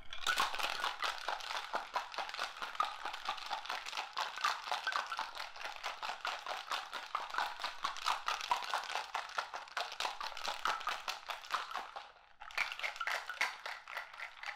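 A hollow, hand-held stainless steel cocktail shaker holding liquid, and likely ice, is gripped in both hands and shaken vigorously at chest height. It makes a rapid, uneven, crunchy rattling clatter, bright in the midrange and highs. The shaking pauses briefly around the 12-second mark, then resumes.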